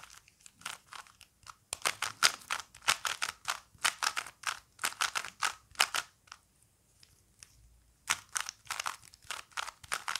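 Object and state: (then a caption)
Plastic Rubik's cube being turned. Fingertips repeatedly turn the layers of a small plastic Rubik's cube with colored stickers, held up close. Quick bursts of bright plastic clicking and scraping come in rapid runs, with a quieter pause in the middle before the turning resumes.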